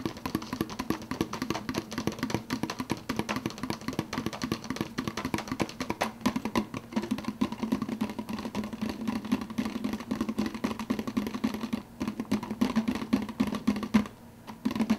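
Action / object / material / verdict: tap / plastic fountain-drink cup with plastic snap lid / plastic / none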